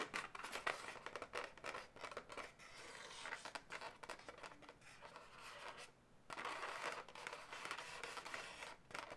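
Long white-tipped natural nails scratch and tap the taut surface of a light pink, hand-sized, hollow air-filled latex twisting-balloon animal. The result is a dense run of dry, bright scratching and rubbing strokes with quick light taps, centered in the upper mids. A brief near-silent pause breaks the sound partway through before the scratching resumes.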